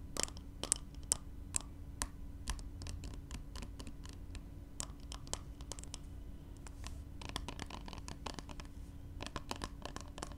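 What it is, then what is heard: Glass spray bottle tapped and scratched with nails. Fingernails tap and scratch a small glass spray bottle with liquid inside as it is handled on fabric. Many quick, sharp, bright ticks and scrapes come in uneven bursts over a soft, steady low hum. The whole clip stays quiet and close.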